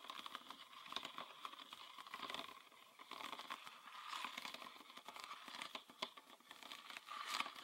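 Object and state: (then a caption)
Plastic bottle. A full green PET bottle with a red plastic cap is tapped with fingernails on its body and cap. The result is a quiet, continuous stream of quick, crisp plastic clicks with a crinkly texture. The taps carry a bright tone that rings around 1.2 kHz and has no low end.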